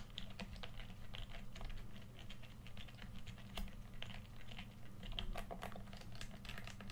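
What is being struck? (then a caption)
Hollow plastic game controller. Fingertips tap rapidly on the body and buttons of a red, hand-sized, hollow plastic PS4 controller held in both hands. The result is a quick, uneven run of short, dry, bright clicks and patters over a steady low hum.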